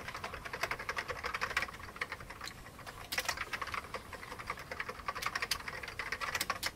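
Both hands type rapidly with their fingertips on an old beige plastic computer keyboard. Dense, bright clicky keystrokes centered around 2 kHz come in quick bursts, with a brief softer stretch in the middle. Each click is short and dry, with almost no low end.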